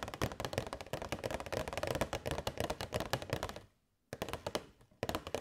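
Long nails tap rapidly on a hollow, transparent plastic box holding LED fairy lights, with the box held at an angle. The result is a dense stream of dry, clicky taps with a hollow low thump, stopping briefly near the four-second mark before resuming in short bursts.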